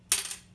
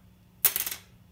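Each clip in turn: First: graphite guitar saddle, bright ping. Second: bone guitar saddle, dead-sounding.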